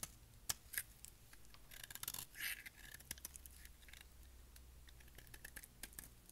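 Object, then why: Bar of soap shaved with a knife blade. A solid, dry, dark grey bar of soap is held in the hand and shaved with a utility knife blade. It makes quiet, crisp, bright scraping and clicking cuts, including a longer scrape near the middle, over a low steady hum. Each cut stops dry with almost no ring.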